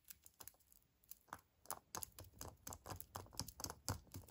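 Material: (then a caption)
Foil. A small, hollow Kinder Surprise chocolate egg in a printed foil wrapper, whole and unopened, is held in one hand and tapped and scratched with fingertips and nails. Around nineteen quick, irregular taps come through as dry clicks with a soft low thump, mixed with crinkly foil scratches that carry a bright, high edge. Each sound dies away almost instantly.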